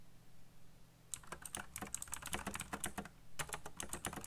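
A backlit black plastic mechanical keyboard with RGB lighting and hollow key switches is typed on very fast with fingertips. After about a second of quiet, rapid, irregular bright clicky taps run for the rest of the clip, with a short pause just before 3.5 seconds.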